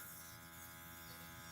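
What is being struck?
Nothing is struck.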